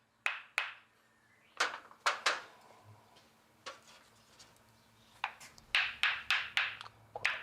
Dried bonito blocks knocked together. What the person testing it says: celuici donne un son aigu et clair